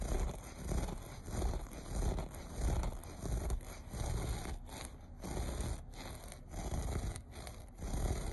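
Short fingernails scratch and rub back and forth across the loops of a low-pile looped beige carpet. The result is a steady, low, muffled scraping that swells and fades in a loose rhythm, with faint crackly texture above it.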